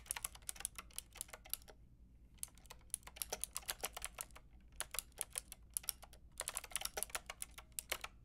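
Long painted nails and fingertips type on a white-pink backlit mechanical keyboard with round plastic keycaps. The sound is a stream of sharp, bright clicks in quick bursts, with a short pause around two seconds, over a faint low hum. Each click stops almost instantly.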